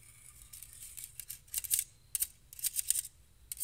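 Two stainless steel balloon whisks are held in both hands, their thin wire loops scraped and tapped against each other and plucked with fingertips. Quiet, bright metallic ticks and scratchy rasps come in quick clusters, each dying out almost instantly with only a faint high shimmer.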